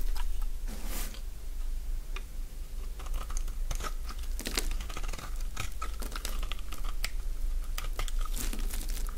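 A utility-knife blade shaves flakes from the face of a solid, oval green bar of dry soap held in the palm. Repeated crisp, dry scraping and crunching strokes crackle with bright bursts over a steady low hum.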